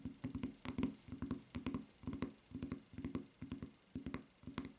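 Long nails tap and scratch the footbed of a white rubber flip-flop with a red print and strap. The result is a quick series of soft, dull taps in uneven clusters, each with a low, short body and a faint bright click, and with brief scratchy rasps between them.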